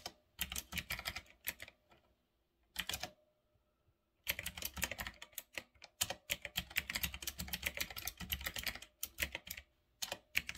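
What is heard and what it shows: Fingertips type on a full-size retro typewriter-style mechanical keyboard with round black plastic keycaps on a metal-look frame. Bursts of sharp, bright, clicky keystrokes come in quick runs, broken by short pauses, with a long dense stretch of typing in the middle and a final brief burst at the end. Each click is crisp and dies away almost instantly.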